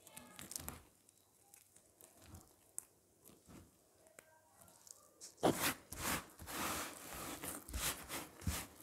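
A pile of dry, crumbly green and cream bar soap shavings on a flat picture surface is rubbed, pressed and crushed with bare fingertips and palms. Sparse, quiet crackles and light crunches come first, then from about halfway a louder, denser run of bright, dry crunching and rubbing takes over until the end.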